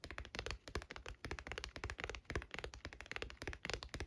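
Fingers tap rapidly on a leather binder for Pokemon cards. The result is a quick, steady run of short, dull, muffled taps with a soft thump and almost no ring.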